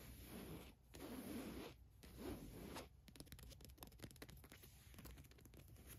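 Long nails scratch quickly across the printed logo on a black Adidas cotton t-shirt, making a raspy, zipper-like scraping. A few longer strokes with a low, grainy body come first, then a flurry of short, brisk scratches with bright edges.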